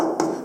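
A single knuckle knock on the heavy pressed-tin body panel of an old car gives a solid, resonant thud centered around 320 Hz that fades within about a fifth of a second. The all-metal, wood-free panel sounds solid, unlike a modern car's.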